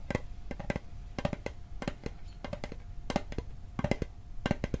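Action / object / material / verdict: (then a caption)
tap / small hollow metal mint tin / metal / none. Fingertips and nails tap the lid and edges of a small, hollow, rectangular metal Altoids mint tin held in the hand. The result is a quick, irregular run of short, dry clicks with a hollow low thump and a faint steady metallic ring underneath. Each tap dies away almost instantly.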